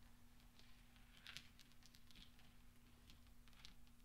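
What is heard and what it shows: Fingertips roll small, solid steel pachinko balls across black velvet and clink them together. The result is a quiet, soft patter of light, bright metallic ticks with a steady low hum underneath. The clicks are short and damped, with almost no ring.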